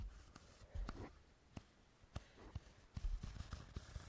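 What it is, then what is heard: Foam roller. A large hollow cylindrical foam roller with a black and pink textured hexagon surface is held in both hands and scratched and rubbed with fingernails and fingertips. Quiet, dry scratching and rubbing runs throughout, broken by soft, dull low knocks that die away quickly.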